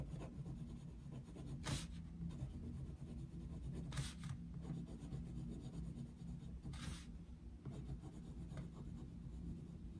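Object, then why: Wooden coloured pencil on a paper colouring page. A wooden coloured pencil scratches and rubs across a paper colouring book page of a Mickey Mouse picture resting on a desk while shading. The steady, soft scratching is mostly low in tone, with a few brief, brighter rasping strokes rising above it.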